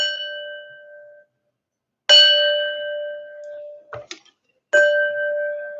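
A drinking glass holding water is tapped three times, each tap giving a clear, bell-like ring with a low tone near 600 Hz and brighter overtones around 1.5 kHz and 3 kHz that slowly fade. Each strike sounds at the same pitch and only the loudness changes, with a few faint light clicks between the second and third taps.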